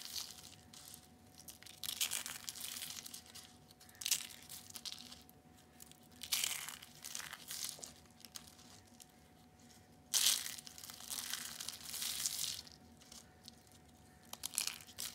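Purple and blue dried soap curls, thin brittle rolls, are crushed and pressed by hand. Bursts of bright, crisp crunching and crackling come in several waves, separated by quieter gaps, with a faint steady tone underneath.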